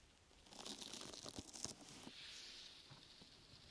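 Long nails scratch and fingertips pat the sides of a brown, open-weave sticky foam rubber grip mat draped over a microphone. Bright, crackly scratching and soft thuds rise over the first two seconds, then settle into a steady, high hiss that slowly fades.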